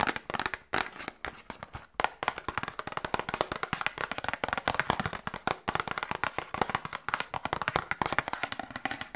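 Long nails rapidly tap and scratch a small, hollow cardboard medicine box. The result is a dense stream of short, dry clicks and scrapes that stop instantly, centered in the midrange with bright edges and almost no low end.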